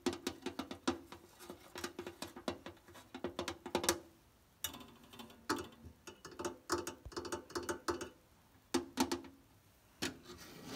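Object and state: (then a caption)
Mirrored glass cabinet. Long nails tap and scratch across the flat mirror panels and edges of a mirrored-glass side cabinet with a wooden-edged frame and a metal knob. The result is quick, dry clicks with a short glassy ring, bunched in rapid bursts and separated by brief pauses.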